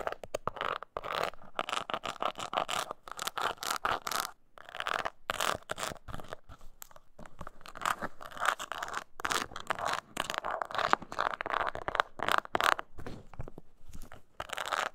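Long nails scratch and tap the sides of a small, hollow, brown crocodile-embossed leather mini coin purse with a metal kiss-lock clasp and handle, held in the hands. Dry, rapid scraping bursts centred in the mids are broken by short tapping clicks and brief pauses. Each stroke stops dead with no ring.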